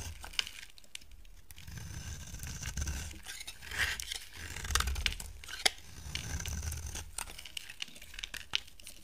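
A utility knife blade shaves a solid oval bar of dry yellow soap held in the hand, scraping and cutting off curled shavings. Slow, rasping scrapes swell and fade in repeated strokes, with a soft low rumble beneath bright, crisp crackles and occasional sharp ticks.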